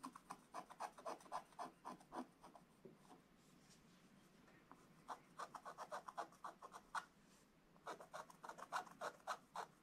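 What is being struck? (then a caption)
Black-coated scratch-art paper scratched with a wooden stylus. A wooden stylus scratches the presents area of a black-coated scratch-art book page, making quick, dry rasping strokes in rapid bursts. The strokes come in three runs separated by quieter stretches of faint scraping. Each stroke is short and bright-edged, centered in the midrange.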